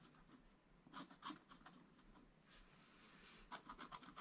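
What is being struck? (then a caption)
Black-coated scratch-art card scratched with a wooden stylus. A wooden stylus scratches strokes into a flat, black-coated scratch-art page. Quiet, bright, raspy scratches come in short bursts, with a softer, steadier rub in the middle. A quick run of crisp strokes closes the clip.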